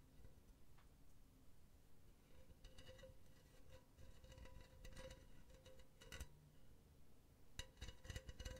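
Long painted nails tap and scratch the side of a hollow, empty, silver cylindrical wire-mesh pen holder held close to the mic. Quiet, dry metallic ticks and raspy scratches come in irregular clusters over a faint low rumble, with a thin steady ring just above 500 Hz. Sharp, bright clicks stand out near the six-second mark and again in a quick flurry toward the end.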